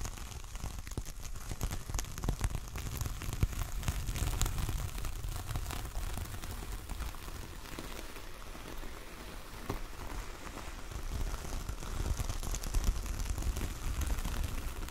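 Long acrylic nails scratch and rake across the bristly surface of a large flat coconut coir door mat with a grey star print, lying on a table. A dense, continuous crackling rasp with many small scratchy ticks rises and falls in intensity throughout, carrying a deep low rumble beneath it.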